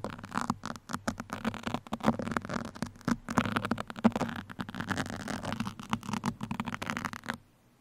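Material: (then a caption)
Foam. Fingertips of both hands scratch and poke a black foam microphone windscreen with two steel pins, making close, dense, crackly scratching and soft tapping over a low, steady hum around 200 Hz. The scratches come in quick, irregular bursts for about seven seconds, then stop, leaving near silence.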